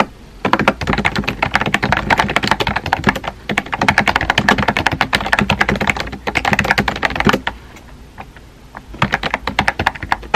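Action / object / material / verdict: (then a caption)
tap / plastic keyboard with round plastic keycaps / plastic / none. Fingertips type rapidly and continuously on a small pink and white Kakao edition plastic keyboard with round plastic keycaps and a hollow body. Quick, dry, clicky taps run in dense bursts with brief pauses and a longer quiet gap near the end before typing resumes.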